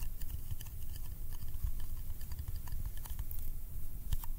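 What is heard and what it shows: A small round yellow metal candy tin is held in one hand while a fingertip gives sticky taps on its lid and edge. The result is a steady run of quick, soft tapping with a low, muffled body and faint bright clicks, each dying away almost at once.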